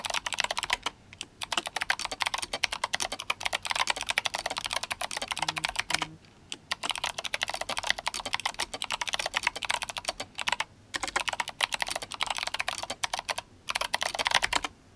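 Fingertips of both hands type fast on a GMMK Compact RGB-backlit mechanical keyboard fitted with clicky Kailh Box White switches and plastic SA keycaps. Dense bursts of sharp, bright clicks patter steadily, broken by a few brief pauses, with each keystroke dying away almost instantly.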